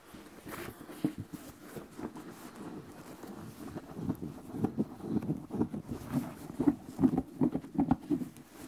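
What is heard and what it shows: Fingertips tap and scratch the upper and the textured sole edge of an empty white leather sneaker with a thick rubber sole. Soft, dull knocks with a warm low-mid body and no ring mix with a faint scratchy rustle, coming in an uneven, unhurried rhythm that grows busier toward the end.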